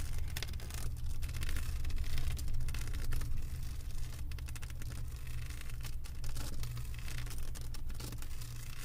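Long white acrylic nails on both hands scratch and tap across a solid, flat diamond painting with a plastic resin-drill mosaic surface. Quick, uneven crackling scratches and light taps ride over a steady low hum that holds at a fairly even level throughout.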